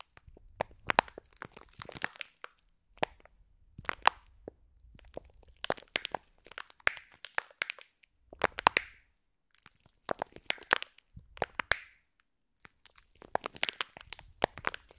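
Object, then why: Soft plastic pack filled with small foam beads. A hand-sized, flat clear plastic slime pack, soft and filled with small green foam beads, is held in front of microphones and squeezed and scratched with long blue painted nails. Dry, crunchy crackles and bright ticking snaps come in clustered bursts separated by brief silences.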